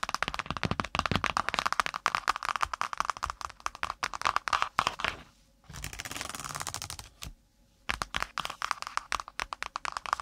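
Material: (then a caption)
Cardboard. Long pointed nails of both hands tap rapidly on the brown kraft cardboard cover of a spiral notebook resting on the mic, making dense, crisp, dry clicks centered in the mid range. The tapping breaks off for a steady rough rustling stretch, goes quiet briefly, then resumes at the same fast pace.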